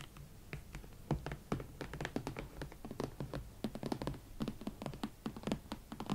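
Long nails on both hands tap and scratch the leather shafts and sides of a pair of upright hot pink leather Valentino Club platform boots. Quick, dull, low-pitched taps come in a dense, uneven patter, with soft scratching between them. Each tap dies almost instantly with no ring.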